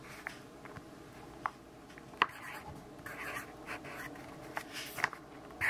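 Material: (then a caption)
Paper. A yellow graphite pencil writes and scribbles on an open grid-paper notebook page, making a soft, steady scratching with brighter swells as the strokes move. Several sharp, short ticks stand out where the pencil lands or changes direction, each dying away almost instantly.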